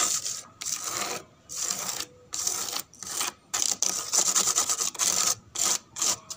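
Long pink nails scratch fast and aggressively up and down a large, flat, brown-painted wooden surface whose peeling, flaking paint shows pale wood underneath. The sound is a dry, bright, raspy scratching that comes in quick bursts separated by brief silences, with almost no low end.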